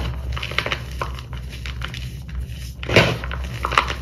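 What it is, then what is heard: Crushed gym chalk powder. Both hands dig their fingertips into a heap of pale purple crushed dyed gym chalk, fine powder with small chunks, in a white bowl, rubbing and crushing the chunks into powder. Soft gritty crunches and crackles run throughout, with a louder, fuller crunch about three seconds in, over a steady low hum.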